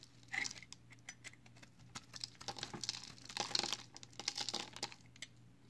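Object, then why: Bar of soap shaved with a blade. A hand-sized solid bar of recycled soap with green and white layers is held in one hand and shaved along its edge with a box cutter blade. Quiet, dry, crinkly scraping strokes come in quick, irregular bursts, bright and hissy with little low end, over a faint steady low hum.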